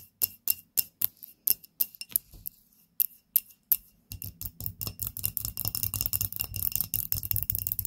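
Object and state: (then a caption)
Glass candle holder. Long nails tap a small glass candle holder filled with pink wax and holding a lit candle. Separate bright, clicky taps with almost no ring come first, then after about four seconds the tapping turns into a fast, dense run with a fuller low thud beneath the clicks.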